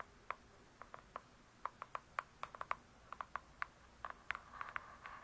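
Long nails tap and scratch the glossy cardboard cover of a large closed hardcover book, making about 21 quiet, dry clicks. The clicks are short and sharp, centered around 1.1 kHz with little low end, and have a brief scratchy rustle near the end.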